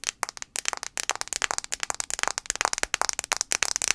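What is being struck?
Smartphone glass screen.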